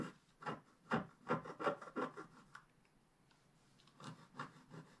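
A pointed wooden stick is scratched across the black coating of a flat, roughly A4 scratch-art paper page in a scratch book lying on a table. Short, dry, rasping strokes come in a fairly steady rhythm, each a broadband scrape centered in the midrange with a brief, soft tail. A quiet pause in the middle is followed by a few lighter strokes.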